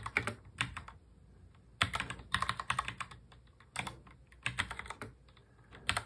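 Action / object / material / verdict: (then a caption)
tap / plastic mechanical keyboard / plastic / none. Both hands type continuously on a full-size black mechanical keyboard with plastic keycaps, fingertips tapping the keys. Bright, sharp clacks come in quick bursts separated by brief pauses, each tap dying away almost instantly.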